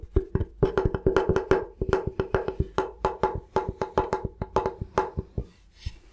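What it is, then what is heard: Bamboo chopping board. Fingertips tap rapidly on the flat face of a thin, solid bamboo cutting board held upright. About thirty short, dry, woody knocks with a hollow mid tone and a soft low thump come in a quick, uneven rhythm, each dying away almost instantly. The taps thin out and fade near the end.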